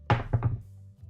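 A shop-bought, pre-shaped metal headband is dropped onto a table, giving three low, dull thunks that die away quickly. It makes a heavier sound than a lighter handmade wire headband.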